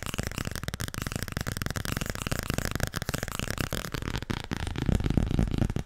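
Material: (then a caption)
Paper. Fast tapping on the softcover book 'Overdracht en tegenoverdracht' makes a rapid, continuous stream of soft, dull, low-heavy taps with almost no ring. The tapping grows slightly louder toward the end.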